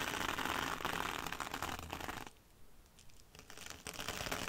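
Long dark red almond-shaped nails scratch and tap a small rectangular scouring sponge wrapped in red sparkly mesh fabric, lying on a dark glitter mat. Dense, crinkly scratching with bright hiss fills the first two seconds, then drops to a quieter stretch of faint ticks before the rapid scratching picks up again.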